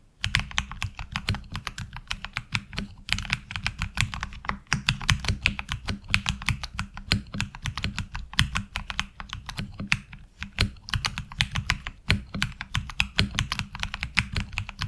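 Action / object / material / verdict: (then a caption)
tap / mechanical keyboard with ABS plastic keycaps / ABS plastic / none. Both hands type with their fingertips on a HyperX Alloy Origins Core tenkeyless mechanical keyboard with black ABS plastic keycaps, resting on a desk mat. A steady, rapid stream of short keystrokes is heard, each a bright, crisp clack over a low, muted thump, with almost no ring between strokes.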